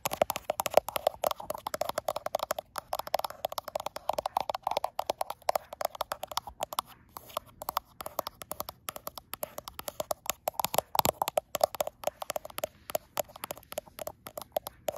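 Long acrylic nails repeatedly tap the frosted glass back of a gold iPhone Pro held up in front of a mirror. The result is a fast, continuous stream of short, dry clicks with almost no ring, centered on a mid-range tone around 600 Hz with a light bright edge. The taps stay quiet throughout, with only a few brief pauses in the tapping.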